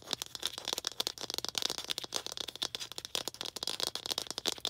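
A small hollow red plastic ball with a slightly textured surface is tapped and scratched with long green acrylic nails. Rapid, dense clicks and scratchy ticks come in quick bursts, bright and thin with almost no low end. Each tap dies away almost instantly.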